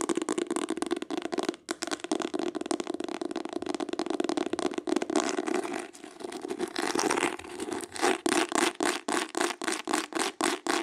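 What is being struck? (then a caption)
Embossed hardcover book cover. Long acrylic nails tap and scratch quickly across the embossed cloth or leatherette cover of a green hardcover book. The sound is a dense, crackly scraping rattle at first. It then settles into a fast, regular run of distinct dry taps near the end.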